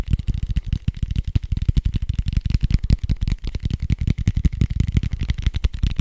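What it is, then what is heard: Foam dice. A large, soft red foam dice with white dots is held up and tapped and scratched quickly with fingertips and nails. The result is a fast, dense stream of soft, dull thuds with low, muffled body and crisp, brief scratchy edges. The taps are so close together they nearly run into each other.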